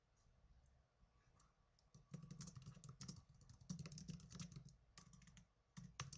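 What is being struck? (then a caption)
Plastic netbook keyboard. Fingertips with blue-painted nails type on the plastic keys of a small black plastic netbook keyboard. The result is bursts of quick, dry clicks with bright tips and a dull low thump, separated by brief quieter pauses.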